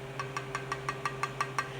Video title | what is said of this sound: #canning #homestead | you can hear like a hollow sound when I tap